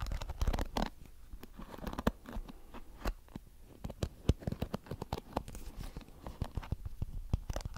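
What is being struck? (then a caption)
Plastic hairbrush with flexible plastic bristles. Fingertips flick and rub the colorful flexible plastic bristles of a small blue plastic hairbrush close to the mic. The result is a rapid run of dry, crackly clicks and scratchy rustling with a heavy, muffled low end. Each flick stops almost at once with no ring.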